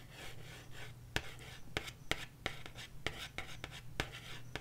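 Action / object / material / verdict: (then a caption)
tap / cardboard LP record sleeve / cardboard / none. Long nails scratch and tap the glossy printed surface of a 12-inch cardboard LP record jacket held upright. About ten sharp, dry taps land at an uneven pace over a soft, bright scratching rustle, with a steady low hum underneath.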